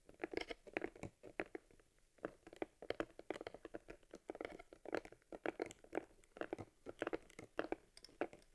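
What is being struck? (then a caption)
Small leather camera case. Fingers squeeze, rub and tap a small, hollow, worn leather camera case for an Argus C3 held in the hands. The result is a dense run of short, dry, crinkly taps and crunchy creaks, centered in the low mids with some bright edges, with quiet pauses between bursts.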